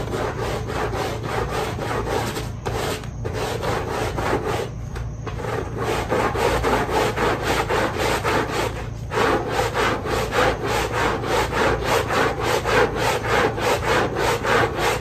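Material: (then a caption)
Fabric. A long-handled stiff-bristle push brush scrubs a small pink fabric pile rug that is wet and foamy, moving in quick, repeated strokes. The result is a rhythmic, raspy, wet swishing with a few brief pauses, over a steady low hum.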